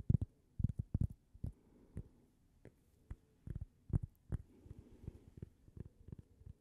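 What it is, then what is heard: Cork coaster. A small, thin, solid toast-shaped cork coaster is held in the hands and tapped and scratched with long painted fingernails. Quick, dull, low thuds come in irregular bursts, with soft scratching in the quieter gaps. Each tap dies away almost instantly with no ring.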